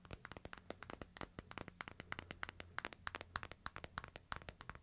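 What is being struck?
Smartphone in plastic case.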